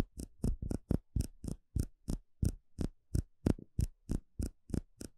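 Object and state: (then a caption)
Clear plastic cup. A small, empty, hollow clear plastic cup held in the hand is tapped and poked with fingertips and a small plastic stick. About 18 quick, slightly uneven taps come roughly three per second, each a dull, low thump with a faint bright click on top. Every tap stops at once with no ring.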